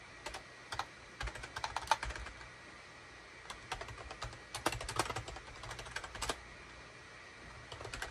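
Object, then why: Plastic computer keyboard. A full-size gray SHIPADOO K600 wired USB keyboard, with a hollow plastic case and cream, gray and orange plastic keycaps, sits on a desk mat and is typed on rapidly with the fingertips of both hands. Short, clicky key strikes come in uneven bursts with brief pauses between them, each dying away almost instantly. The clacks have a bright, hollow plastic tone.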